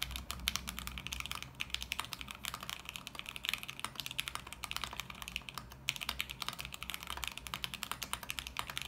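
Both hands type continuously with their fingertips on a small 40% mechanical keyboard with beige plastic keycaps in a clear, RGB-lit acrylic case resting on a desk mat. The result is a rapid, steady stream of short, bright clacks centered around 3.1 kHz that die out almost instantly. A faint low hum sits underneath.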